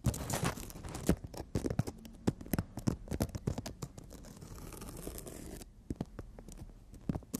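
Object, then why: Emery board nail file. Long natural nails rapidly tap and scratch on a thin, solid emery board nail file held horizontally. Sharp, dry clicks with a low thud alternate with raspy scraping strokes, including a sustained bright scratch near the middle before the quick taps resume.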